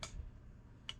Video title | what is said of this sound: Dekada Collectibles Show S3 E35: Model, Nagbenta ng PhP 10k Worth na Pinggan? | Nabawa sa lupa, sobrang tagal. Nagiging brittle. Hindi na.